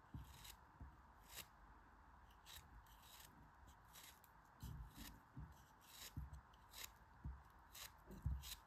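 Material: Kinetic sand.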